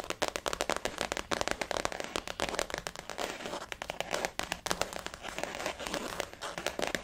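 Long fingernails on both hands tap and scratch a blue floral-print glossy faux leather zip-around wallet resting on a table. The result is a dense, rapid stream of crisp clicks and scratchy crackling with a bright edge and very little low end, each tap dying away almost at once.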